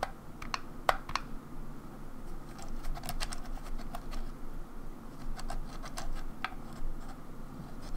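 A grey, hollow plastic Nintendo 64 controller is held in one hand while long nails tap and scratch around the analog stick and the front plastic shell. Quick, bright clicky taps rise over a soft scratching rustle and a steady low rumble. The taps are quiet and die away almost instantly.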